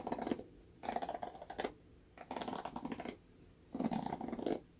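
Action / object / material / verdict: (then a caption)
scrape / plastic paddle hairbrush with bristles / plastic / none. Fingernails scratch and flick the bristles of a red plastic paddle hairbrush with a black bristle cushion, held by the handle. Four bursts of soft, dry, crackly scratching come in separated by quiet pauses, each with rapid ticking flicks and no lingering ring.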